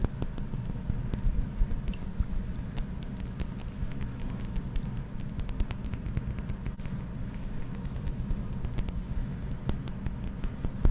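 Fingernails tap quickly and repeatedly on the glass body of a small, partly filled, pink-tinted glass perfume bottle with a pink flower-shaped cap, close to the microphone. The result is a steady patter of short, crisp clicks over a constant low rumble.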